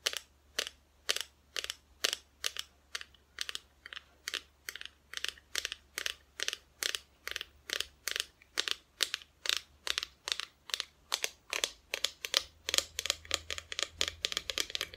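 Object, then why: Painted wooden Christmas cutout. Long nails tap steadily on the painted front of a flat, solid, painted wooden Christmas decoration cutout held close to the mic. Each tap is a bright, dry, crisp click that stops almost instantly. The taps quicken toward the end over a faint low hum.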